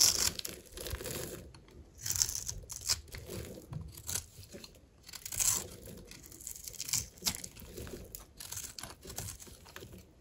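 A metal blade cuts grid lines into a solid, rectangular, dry lime green soap bar held in the hand, then scrapes off small cubes. Crisp, bright scraping and crunching come in uneven bursts with short quiet gaps. Each stroke stops dead with no ring, and the soap crumbles away into cubes.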